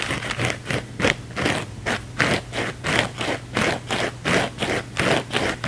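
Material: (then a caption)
Foam. A thin, flexible blue foam sponge held in the hands is scratched fast with the fingernails. The result is a steady run of rough, bright scraping bursts in a loose rhythm, over a faint low hum.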